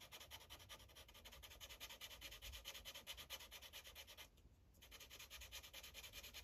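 A yellow felt-tip marker tip rubs over a thin printed paper coloring page resting on a hard clipboard in quick, repeated coloring strokes. The result is a steady, bright, scratchy rasp of short strokes, pausing briefly near the middle before resuming.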